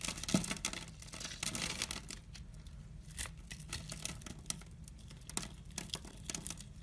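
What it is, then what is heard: Glycerin soap bar being scraped with a blade. A utility knife blade scores and scrapes small crystal-like cubes off a solid, translucent purple glycerin soap bar held in hand. The sound is a dense run of bright, crisp scraping and crackling ticks over a low, steady rumble, with brief louder bursts as pieces break away.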